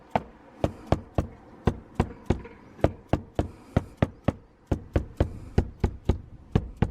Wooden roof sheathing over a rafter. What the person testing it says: So this is one way you can check to find the rafters or the studs, is to just tap the roof.